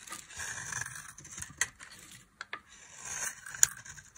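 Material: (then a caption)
Soap. A small knife blade carves a solid, hand-sized rectangular bar of dry orange soap held in one hand, curling off shavings that pile on the table. Bright, dry scraping strokes rise and fade across the clip, broken by four sharp, brief clicks of the blade.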